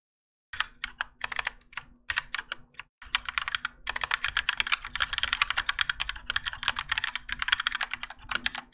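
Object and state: Mechanical keyboard with ABS plastic keycaps.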